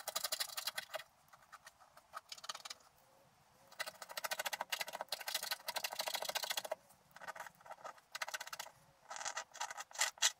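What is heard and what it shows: A wooden stylus rubs and scratches across a flat sheet of scratch art paper, scraping away its black coating. Quick bursts of dry, bright, raspy scratching come and go with short quiet pauses between strokes. The sound is thin and high, with almost no low end.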